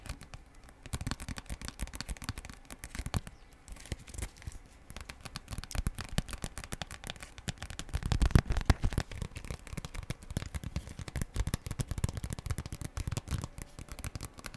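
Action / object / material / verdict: scrape / thin plastic foil sachet / plastic foil / none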